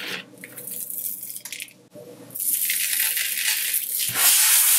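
A flat palm rubs and presses into a layer of colored sanding sugar crystals spread on a white surface, and fingers lift and scatter the granules. The first half holds soft, uneven dry rustles and crackles. After about two seconds it swells into a louder, steady, bright gritty hiss of grains sliding and scattering.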